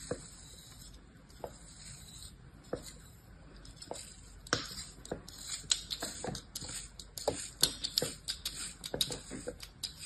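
A solid mound of beige kinetic sand resting on the back of a hand is sliced with the blade of an orange plastic knife in a scraping, cutting motion. A quick, irregular run of short, crisp crunches and gritty scrapes rises over a faint, bright hiss, each cut dying away almost at once. The strokes grow denser and louder toward the end.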